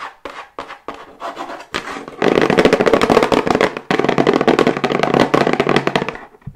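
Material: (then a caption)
Cardboard. Long white acrylic nails tap fast on a medium-sized, hollow plain brown cardboard box held upright in both hands. A few separate hollow, mid-pitched taps open the clip, then they speed into a louder, dense flurry of dry clicks with a brief break near the middle. The tapping carries on before trailing off at the end.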